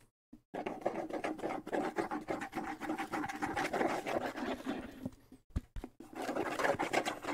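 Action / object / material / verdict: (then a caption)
scrape / small wooden bongo drum with skin head / wood, skin / none. Fingertips rapidly scratch a small hollow wooden bongo drum with a skin head, held in one hand. The result is a dense, irregular midrange rasping with quick tapping flicks, broken by a short pause before the scratching resumes.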